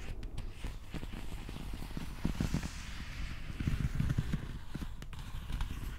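A replica plastic prop axe handle is held horizontally while fingertips tap and scratch along its textured plastic grip. Soft, dull, low taps come in an irregular run over a faint scratchy rustle, each tap dying away quickly.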